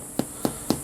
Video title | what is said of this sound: How to Make Simple Survival Bread with 4 Ingredients Long Term Survival Skills | if it kind of sounds hollow, that means it's probably going to be pretty good